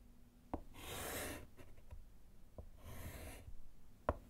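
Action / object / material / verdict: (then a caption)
scrape / chalk on a wood-framed slate board / slate / none. A gloved hand writes letters with a small white chalk piece on a small, flat, solid wood-framed slate chalkboard. Two long, bright, hissing chalk scratches drag across the slate, separated by short soft strokes. Three sharp taps mark where the chalk meets the board.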